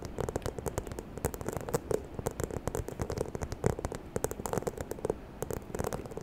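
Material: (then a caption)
Faux leather. Long nails tap and scratch across the textured surface of a small, hollow, white croc-embossed faux leather handbag. Quick, dry clicks come in an uneven stream over a soft scratchy crackle, with a dull, hollow low body under each tap and a faint bright tick on top.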